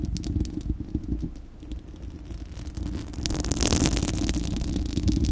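Long acrylic nails of both hands scratch a bare, hollow, fist-sized spherical steel wire-mesh microphone grille, producing a dense, rumbling scratch heavy in low frequencies with rapid, irregular strokes. The scratching dips quieter in the middle, then turns louder with a bright, hissy crackle for the last couple of seconds.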